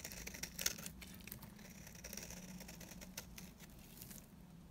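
A blade scrapes flakes off the face of a dry, solid yellow soap bar, making a quiet run of fine, crisp scratching and crinkling ticks with bright high-frequency hiss. A few sharper clicks stand out near the start over a low steady hum, and the scraping gradually thins out toward the end.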